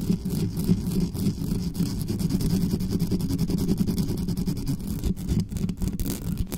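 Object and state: Metal microphone grille being scratched.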